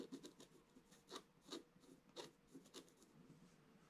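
A wooden stylus scratches fine lines across the black coating of a scratch-art paper page lying in a flat book. A quiet series of short, dry, raspy strokes is heard, each a bright scrape over a soft papery body that stops almost instantly with no ring.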